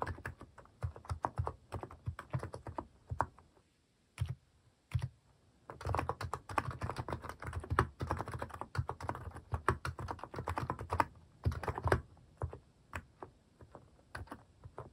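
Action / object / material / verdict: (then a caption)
tap / plastic mechanical keyboard keys / plastic / none. A cream plastic mechanical keyboard fitted with plastic cat and paw keycaps is typed on with fingertips, giving a steady run of short, dry, thocky key clacks with a deep low body and little high-end sparkle. The keystrokes come in quick bursts with a brief pause near the four-second mark before the typing picks up again and continues densely to the end.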